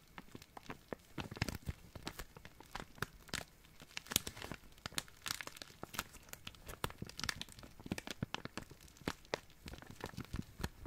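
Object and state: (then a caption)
Thin plastic zip bag being crinkled. An empty, small, clear, thin plastic zip-lock bag is crinkled and rubbed with fingertips. Dense, quiet crackling fills the clip, broken by many sharp, bright crinkling snaps that stop instantly with no ring.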